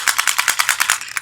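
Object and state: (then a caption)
Plastic toy bottle with a loose inner part that rattles. A magazine-version TV Full Bottle toy of solid white plastic is shaken up and down, then to the side, producing a quick series of about eleven bright, dry plastic rattles. The bottle normally has no inner part, only two halves and a cap, so an inner part taken from another bottle was put inside to make it rattle, and the sound comes out a bit off.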